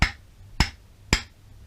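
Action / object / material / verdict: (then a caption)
knock / steel motorcycle crankshaft with connecting rod / steel / worn. Three sharp, short knocks ring out from a steel BMW (Awtowelo/EMW) R35 motorcycle crankshaft held by its connecting rod and struck by hand, each with a quick metallic click over a low thud. The audible knock shows a worn connecting rod roller bearing and pin, so the crankshaft needs a restoration of roughly $500 or replacement.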